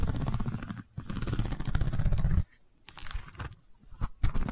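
Long nails on both hands scratch the weave of a long woven rattan/wicker cylinder held horizontally. A dense, rough, low-heavy scraping plays in two steady stretches, broken by a brief pause. After the second stretch it thins into sparser, quieter scratches with a few sharp louder strokes near the end.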